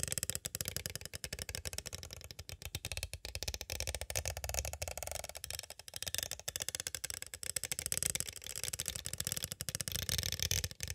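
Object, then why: Clear plastic cassette tape case. A small, hollow, clear plastic cassette tape case is tapped on its sides with two green plastic stick tools. The result is a steady stream of rapid, dry clicks and clatters that are bright and crisp, with almost no ring after each tap.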